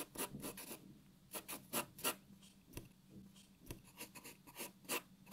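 A graphite pencil shades a white paper sheet resting on a wooden table, making short, dry rasping strokes in an uneven rhythm. Each stroke is a quick, bright scratch with a faint low hum underneath, separated by brief pauses.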